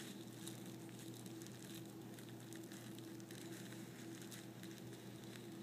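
A folded sheet of thin white tissue paper on a table is rubbed and pressed flat by fingertips and nails, giving a soft, continuous crinkle with faint bright crackles. A steady low hum runs underneath the whole time, and the overall level stays quiet and even.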